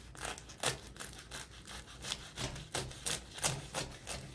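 A serrated kitchen knife saws back and forth through the crisp top crust of a large round spiral spinach börek made of flaky baked phyllo pastry in a metal tray. It makes uneven bursts of dry, crackling scrapes with bright, brittle crunches and quick flaky crumbles.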